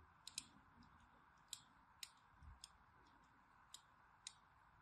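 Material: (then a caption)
Soap. A handheld solid orange striped bar of soap is scored with lines by a thin needle tool, producing seven short, bright, crisp scratching clicks. The scratches are spaced unevenly over a quiet, steady background hiss.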